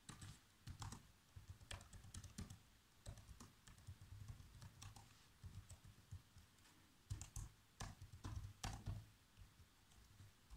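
Fingertips type fast on the black plastic keys of a laptop keyboard. A steady run of quick, dull taps carries mostly low thump, with short bright clicks on the harder strokes, and each tap dies away almost at once.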